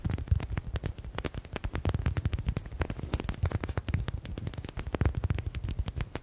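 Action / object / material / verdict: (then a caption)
tap / soft stress ball with a stitched synthetic leather cover / faux leather / none. A soft yellow stitched smiley stress ball with a faux (synthetic) leather cover has its panels tapped and scratched rapidly by fingernails. The result is a dense stream of short, dull, low thumps with faint crackly scratching over it, each tap dying away almost at once.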